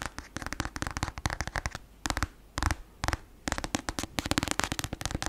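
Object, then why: Paperback book with glossy cover. Long acrylic nails tap and scratch fast on the glossy cover of a black paperback novel, a solid paper block. Rapid, sharp, dry clicks come in quick bursts with short pauses, with bright scratchy texture over a dull papery thump.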